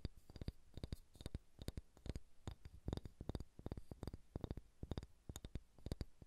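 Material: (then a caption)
Wood. Fingernails tap and scratch a solid, pale pine wooden ball, producing around thirty quick, dry knocks in uneven clusters. Each tap is soft and low-heavy with a faint bright click on top and almost no ring, with light scratching in between.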